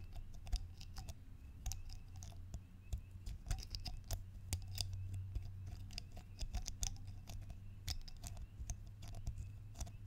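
Fingernails tap and click near the dark cap and along the ribbed body of a single small pressed-glass salt shaker held horizontally, giving quick, bright, hollow clicks. The taps come in an irregular, rapid stream over a steady low hum, each one dying away almost instantly.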